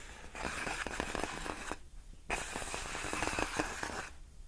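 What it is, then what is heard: Plastic air column cushion wrap. Long fingernails of one hand scratch slowly across the hollow air-filled tubes of a large clear inflated plastic air-column cushion wrap. Two dense passes of crackly, raspy scratching with quick bright clicks are separated by a brief quiet pause.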